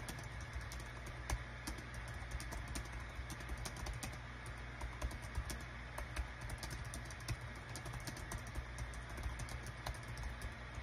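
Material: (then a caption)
Plastic. Rapid fingertip typing on a small green-and-white plastic Dong Guan KPH-030 wireless Bluetooth keyboard with a built-in touchpad, its hollow, thin body lying flat on a desk mat. Quick, light clicks and clacks tumble out in an uneven stream over a steady low hum.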